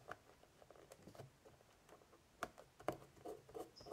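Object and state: Woven straw basket lid.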